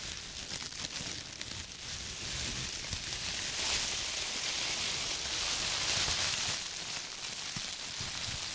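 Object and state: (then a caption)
Plastic produce bag. A thin, clear, empty plastic produce bag is spread out between gloved fingertips, stretched and rubbed, then bunched up and crinkled in the hands. It makes a steady, bright, hissy crinkling and rustling with quick crackles, swelling slightly louder in the middle as the bag is scrunched.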